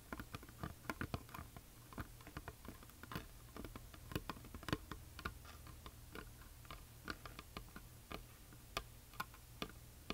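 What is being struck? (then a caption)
Flat painted wooden plaque. Long nails on both hands tap and scratch across a flat, solid, heart-shaped wooden plaque painted white with glitter lettering. The result is a steady stream of quick, dry clicks with brief scratchy brushes between them, over a low, soft background hum.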